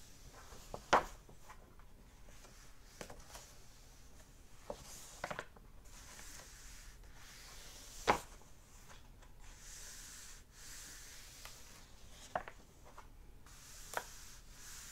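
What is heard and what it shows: Fingertips rub and turn the cream paper pages of an open hardback book. A quiet, steady papery hiss runs throughout, broken by occasional short, sharp ticks and flicks as pages are handled and turned, the loudest near the start and middle.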